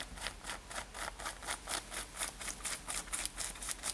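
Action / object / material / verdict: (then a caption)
scrape / denim top / denim / none. Long nails scratch the front of a worn light-blue denim top with brown leather lacing. Quiet, bright, raspy strokes repeat at about two per second in a loosely steady rhythm, each a short hissy burst with little low end.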